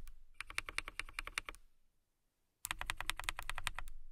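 Long nails type on a clear acrylic mechanical keyboard with clear plastic keycaps and RGB lights, producing rapid, bright, crisp clicks with a thin low thud under each press. A burst of typing fades out around 1.6 seconds, followed by near-silence, and a second, louder burst starts sharply at about 2.6 seconds and runs to the end.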